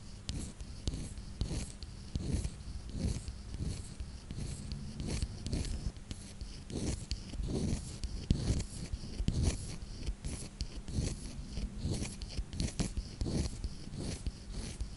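Long dark nails tap and scratch a small square clear glass perfume bottle with a wooden cork-style cap, held in hand. Quiet, close rubbing and scratching fill the clip, broken by frequent short, dull taps with little ring, and the sound stays mostly low with only faint brightness.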